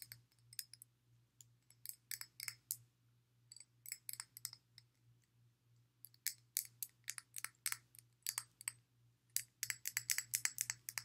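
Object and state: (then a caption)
Glass water bottle. Fingertips and long nails tap along the side of a clear glass water bottle, partly filled with water and fitted with a blue silicone sleeve, while it is held sideways. The result is quick, uneven bursts of bright, dry clicks and clinks that die away almost instantly, over a faint low hum.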